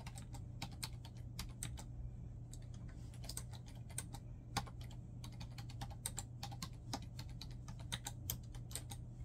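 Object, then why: Plastic laptop keyboard. Fingertips type rapidly on a black plastic laptop keyboard, producing a dense stream of short, bright key presses and taps. A steady low hum sits underneath the clicks throughout.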